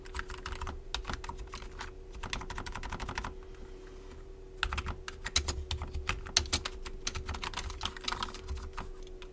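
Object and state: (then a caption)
Plastic keyboard being typed on. Both hands type with their fingertips on a full-size black plastic RGB gaming keyboard with rainbow backlighting, resting on a wooden desk. Rapid, bright, clicky keystrokes patter over a low thud and a faint steady hum. The typing eases into a brief lull near the middle, then returns with a few sharper, louder clacks.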